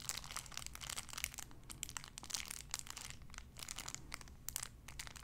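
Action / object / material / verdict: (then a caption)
scrape / small cellophane wrapper / cellophane / none. A small clear cellophane wrapper around a sun-shaped figure is crinkled and squeezed with fingertips and long nails. It makes a dense, bright crackling that keeps going the whole time, with sharp crisp snaps rising over the rustle and a faint low hum underneath.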